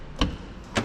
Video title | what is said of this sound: "그래 이 차야!" 5000만원대 BMW - 중고차 구매대행 | 이렇게 둥탁한 소리가 나야 되는데 이게 소음이 다르게 나는 경우가 있어요